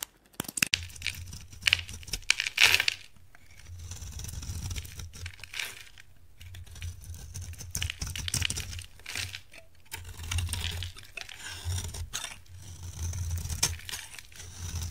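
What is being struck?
Bar of soap scraped with a blade.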